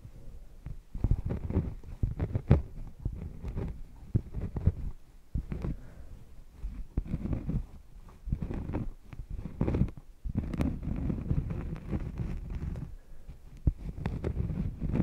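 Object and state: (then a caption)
Cork coaster scratched. The edge of a thin, solid cork coaster is pressed against a furry mic windscreen and scratched with long painted nails. This produces deep, muffled, bassy rubbing and scratching in uneven bursts, with short gaps and almost no bright top end.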